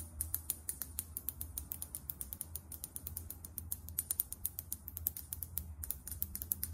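Long nails rapidly tap and scratch a small glass foundation bottle filled with beige liquid and topped with a champagne cap. The result is a fast, steady stream of dozens of short, sharp, clicky ticks with a bright high edge that die away instantly, over a constant low hum.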